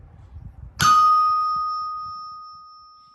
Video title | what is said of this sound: Anvils old vs harbor freight #fabrication #welding #metalworking #metalforming | It rings like a bell. That means the iron structure is very good. It's like glass.